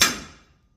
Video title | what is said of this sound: 1950 Dodge sleeve install | Hear that solid sound? It's in.